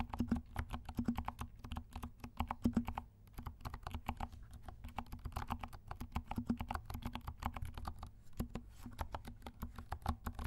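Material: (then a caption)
Plastic. Fingertips of both hands type rapidly on a compact black mechanical keyboard with silent switches and black and pink plastic keycaps. The keystrokes are soft, muffled, low thocks with a faint hollow tone and very little brightness, running in a steady stream with a brief lull around the three-second mark.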